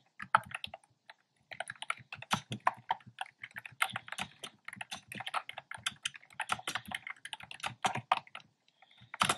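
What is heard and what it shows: Fingertips type steadily on a black plastic keyboard with hollow, round pastel retro keycaps. Rapid, dry clicks and clacks come in quick bursts, each keystroke sharp and short with a bright, hollow plastic tone. There are brief pauses between runs.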